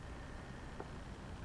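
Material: Nothing is struck.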